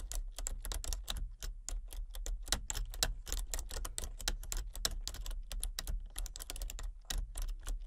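Fingertips with long painted nails tap across a full-size plastic computer keyboard with a hollow body and color-changing backlit keys, in a dark room. Quick, uneven typing produces a steady stream of short, bright, hollow clicks with no ring. A constant low hum sits underneath.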